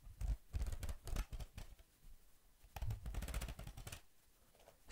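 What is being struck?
Laminated cardboard notebook cover.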